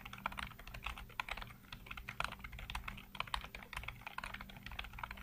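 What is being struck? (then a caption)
Plastic computer keyboard. Fingertips rapidly tap and type on a full-size black plastic computer keyboard with hollow keycaps, recorded close up from a low angle. A fast, uneven stream of short, sharp plastic clicks with a bright, clacky edge rings out over a faint, steady low hum.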